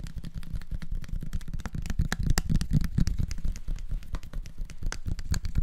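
A small clear bottle with a red plastic screw cap and a label, apparently holding some contents, is held in both hands and tapped with the fingertips. It makes a fast, uneven stream of soft, dull taps with a low thumping body, plus sharper clicks and faint crinkling. Each tap dies away almost at once.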